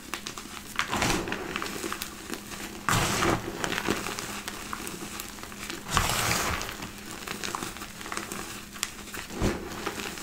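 Both hands dig into a large mound of loose, crushed white gym chalk in a black bowl, squeezing and rubbing handfuls with fingertips and palms, with no intact blocks left. Soft, steady crumbling and crinkling runs throughout, broken by louder gritty crunching bursts as the powder is pressed and grinds between the fingers.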